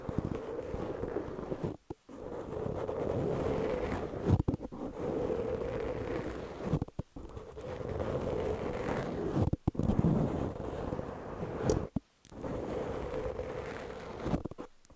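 Long almond-shaped nails of both hands scratch and rub a large, soft, porous black open-cell foam windscreen over a microphone. The result is a dense, continuous rough scratching with a muffled, rumbly low end and a hum-like band around 500 Hz. Several brief near-silent breaks fall between strokes.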